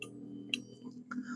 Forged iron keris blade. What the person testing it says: nyaringnya itu kecil itu seperti itu itu adalah suatu apa ya tanda bahwa pusaka itu mempunyai tingkatan tempaan yang cukup pulen